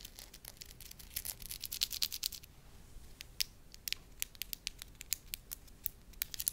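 A small, flat, cream-colored disc of soft, moldable, solid wax rests in one palm and is tapped and scratched with the long lilac acrylic nails of the other hand. Dozens of quick, dry, bright clicks and scratchy ticks follow each other irregularly, each cutting off almost instantly, over a faint low hum.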